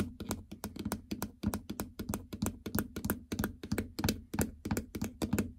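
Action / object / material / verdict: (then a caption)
tap / hard plastic treadmill console with membrane keypad / plastic / none. Long natural fingernails of several fingers tap on the hard plastic membrane keypad console of a treadmill, with blue buttons set in a large, hollow housing. About 29 quick, irregular clicky taps rattle out, each a short hollow knock with a low thud and almost no ring.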